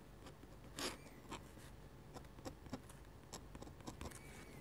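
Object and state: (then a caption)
Pen nib scratching on paper. A metal-nib dip pen makes rapid scratching hatch strokes across a flat white drawing paper sheet. Short, bright, dry scratches sound one after another over a quiet, low background hum, with the loudest scrape near the start.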